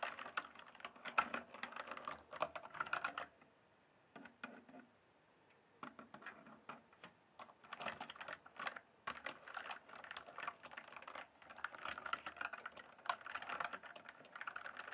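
A full-size RGB-backlit plastic mechanical computer keyboard, hollow keys on a solid base, is typed and tapped with fingertips. Rapid bursts of sharp, clacky keystrokes come in quick runs, broken by a near-silent pause around four to six seconds before the typing resumes.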